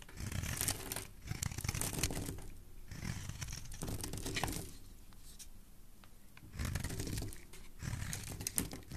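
A metal blade scrapes and shaves the edge and surface of a solid rectangular white bar of soap held in the hand, and white flakes fall off. The sound comes in bursts of dry, crumbly tearing and crinkling, with a heavy low body and bright crackling on top. Quieter gaps fall between the strokes.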